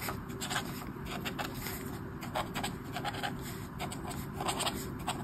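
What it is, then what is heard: Marker scratching on a colouring book page. A marker tip scratches and rubs across a flat sheet of white paper in a colouring book with an orange mandala while colouring. Short, bright, scratchy strokes come in quick bursts over a steady low hum.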